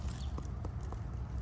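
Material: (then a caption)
Fruit. Knocking on jackfruit growing on a grafted large-leaf jackfruit tree to check ripeness gives dull, low, short thuds rather than a hollow sound. The fruit is still unripe and needs more time to ripen.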